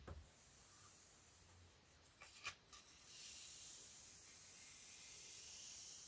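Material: Paper.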